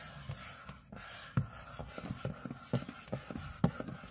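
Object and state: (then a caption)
Aluminium laptop lid scratched. Both hands scratch the back of an aluminium MacBook display lid, near the Apple logo, with short fingernails. The result is a steady run of soft, low, dull scraping strokes over a faint constant hiss, with a few sharper, louder scratches standing out. Each stroke dies away almost at once.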